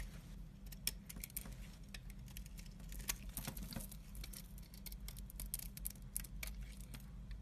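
A utility knife blade cuts and scrapes thin slices off a solid striped orange, white and black bar soap held in the hand. Quick, crisp, bright ticks and scratchy shaves crackle irregularly over a steady low hum.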